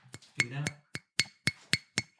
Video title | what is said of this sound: 🎧 Hell or Highwater in Latvia during 2005-2010 - HHE Podcast - EP.52 | you can give it a tap, you can hear the clayiness of it. Yeah, it's definitely clay.